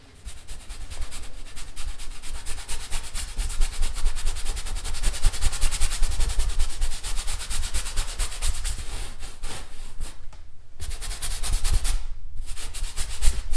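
A paintbrush held by hand is brushed across a large stretched, painted canvas on an easel, a drum-like hollow surface over a wooden frame. Steady scratchy brush strokes carry a bright hiss over a deep, hollow low rumble from the taut canvas. The strokes run almost continuously, with two brief pauses near the end.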